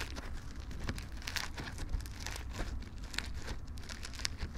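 A soft lump of floam slime covered in small colorful polystyrene foam beads is kneaded and pinched with fingertips and thumbs in front of the microphones. It makes a steady stream of crunchy, bright popping and crinkling over a low, muffled rumble, with close, quick crackles running throughout.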